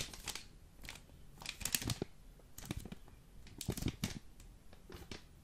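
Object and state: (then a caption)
Vacuum-packed foil coffee bag. Fingers tap and scratch the top and sides of a full Jacobs coffee vacuum brick in green foil, held close to the mic. Quick, dry crinkly taps and scratches come in uneven clusters, with bright foil rustle over soft low thuds and almost no ring.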